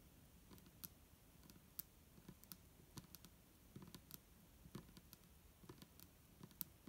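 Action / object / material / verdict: tap / plastic bottle with liquid / plastic / none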